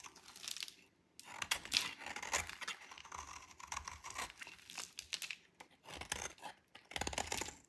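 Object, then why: Bar of soap scraped with a knife blade. A dry white soap bar with pink specks, held in the hand, is scraped and cut with a metal utility knife blade. The clip is dry, crumbly scraping and crunching in bursts with short pauses, bright and hissy with little low end, and each stroke stops almost at once.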